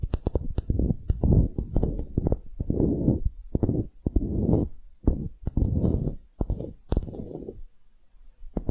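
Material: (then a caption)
Wood. Long nails scratch and tap the faces and edges of a small, solid light-wood block engraved "relax" with a string loop, held in the hands. Quick, dry taps alternate with longer rough scratching bursts, mostly heavy and low with faint bright hiss on top. Each sound dies away almost at once with no ring.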